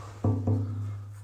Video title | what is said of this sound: Big Mo gets some New Forks 1975 550 Back Hoe gets some new tools | that sounds hollow though. It's not. That's solid.